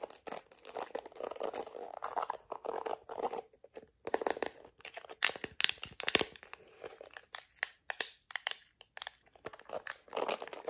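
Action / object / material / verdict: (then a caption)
scrape / plastic hairbrush with bristles / plastic / none. Long acrylic nails scratch the black plastic bristles of a small plastic detangling hairbrush, then tap and scratch its smooth, curved yellow plastic back. The result is a dense run of quick, dry clicks and crackly scrapes with a bright edge and almost no low end. Bursts come in clusters separated by brief near-silent gaps.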